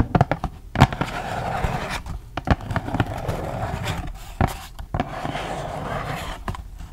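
A flat, thin cardboard face mask pack from The Crème Shop is tapped and scratched with long acrylic nails while held close. Sharp, dry taps stand out over a steady, papery scratching rustle that is mostly low-pitched and carries little treble.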